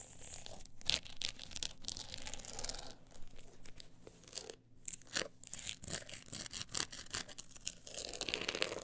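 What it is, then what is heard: Textured book cover being scratched. Long acrylic nails scratch a closed, solid book with a woven-look embossed cover, held and resting on pink fur. The result is a steady run of dry, bright scratching and crunchy rasps with short sharp peaks and quiet gaps, over a faint low hum.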